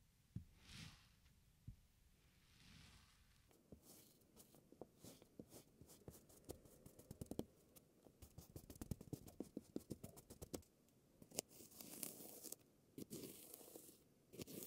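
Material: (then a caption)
Sand. A wooden stamper is pressed repeatedly into a flattened, solid, moldable slab of purple kinetic sand, leaving round imprints. It makes a quiet run of soft, crisp pats and crumbly presses, some clustered close together, with a few louder, brighter taps and occasional grainy rustles in between. Each sound stops almost instantly, with no ring.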